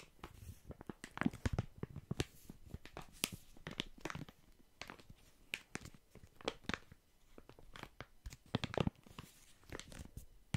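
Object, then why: Soft plastic film packet of wet wipes. A full, soft plastic film packet of wet wipes is held in both hands and squeezed, crinkled and scratched with fingertips. The result is a steady run of quiet, sharp crackles and dry rustling scratches with a few brighter, louder snaps.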